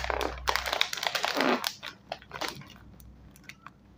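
A small, full, sealed foil-lined metallized plastic chip bag is turned and crinkled between the fingertips of both hands. Irregular bright crackles and crinkles come in bursts, loudest in the first two seconds, then thin out into sparser, quieter snaps toward the end.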